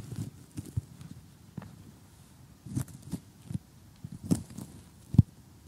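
Fingers with short painted nails tap and scratch across an assembled cardboard jigsaw puzzle lying on a table. Nine soft, dull, low taps land at irregular intervals, with faint scratchy crackle between them. Each tap stops dead with no ring, leaving a quiet background.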